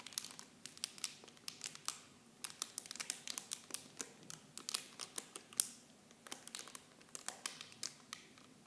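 Clear plastic film wrapped around small blue Nivea bottles is squeezed and crinkled with fingers. It makes a quiet, continuous stream of sharp, bright crackles and pops with almost no low end, each snap dying away instantly.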